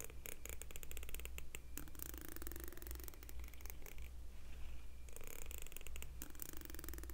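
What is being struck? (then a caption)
Plastic comb. A fingernail strums across the fine teeth of a solid, medium pink plastic comb held up in one hand. The result is a rapid series of dry, crackling clicks that spread up into bright high frequencies. Underneath runs a steady low hum.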